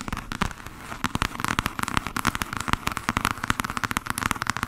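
Long fingernails rapidly tap and scratch along the solid spine of a thick hardcover volume of complete novels. The result is a fast, dense run of short, dry clicks with a bright, papery scratch and almost no ring.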